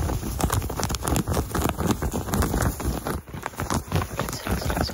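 Fingertips with painted nails quickly scratch and rub the looped pile of a soft, flexible white-beige cotton terry cloth towel, held bunched in the hands close up. The result is a dense, fast, irregular run of muffled scratching and rustling, heavy in the low end with little brightness.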